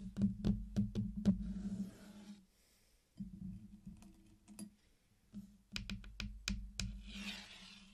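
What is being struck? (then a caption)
Small hard-shelled candy-coated chocolates. Fingertips pick up and place single candies on a flat circular mosaic of many small, solid candy-coated chocolates on a black surface, clicking the hard shells together. Sharp, dry clicks come in two quick clusters separated by a quiet pause, each click dying away almost instantly, over a steady low hum near 190 Hz and a faint bright hiss.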